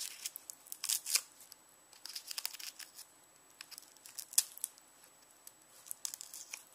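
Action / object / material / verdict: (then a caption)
scrape / whole onion with papery outer skin / onion skin / none. Fingernails scratch and peel the dry, papery outer skin of a whole, solid, palm-sized yellow onion held on a bamboo board. Quiet, bright, crisp crackles and crinkles come in irregular bursts with short pauses between them. Sharper snaps stand out near the first and fourth seconds.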